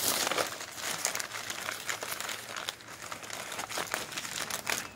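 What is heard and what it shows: Fingertips riffle through and crumple a pile of thin, glossy printed advertising flyers resting on a wooden surface. The result is a dense, bright crinkling and rustling with quick crackly bursts, close-up and nearly free of low end.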